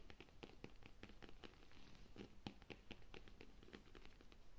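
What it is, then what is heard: Leather handbag. A hollow black pebbled leather handbag with metal zippers and a buckle, resting on a sofa, is tapped and scratched with long nails. Quick, soft, dry clicks with a faint low thump and brief crackly scratching repeat in an irregular run against a quiet background.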